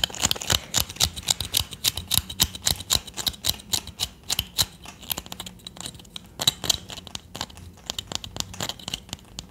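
A small solid palo santo wood stick held in the fingers is tapped and scratched with long nails. Quick, irregular, dry clicks with a bright edge and almost no ring are heard, loudest in the first half, then softer, denser scratching taps toward the end.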